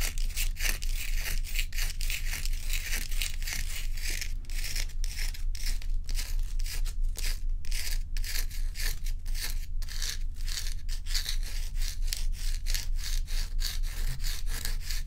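Long nails scratch the frosty curved surface of a large, bowl-shaped solid ice block as it is held and turned by hand. Quick, fairly regular scraping strokes, about two per second, give a bright, gritty hiss over a steady low hum throughout.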